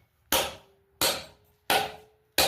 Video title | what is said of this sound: How to mount a post vise#blacksmithing #antique #vise | if you can hear that ringing, the higher the ringing is, the closer you are to being finished